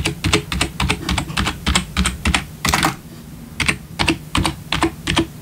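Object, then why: Plastic membrane computer keyboard. Bare fingertips of both hands tap quickly on a full-size black plastic membrane gaming keyboard with RGB backlit keys, resting on a wooden desk. Fast, short, clacky keystrokes carry a low thump and a bright click, briefly pause around the middle, then resume at the same quick pace.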